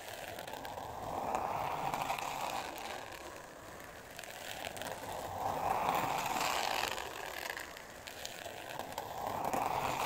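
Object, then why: Thin board covered in glitter paper. Long nails scratch across a flat, solid, thin pink board covered in glitter-textured paper. The result is a continuous gritty, crackly rasp centred in the midrange around 800 Hz, swelling louder and softening again in slow waves as the nails sweep back and forth.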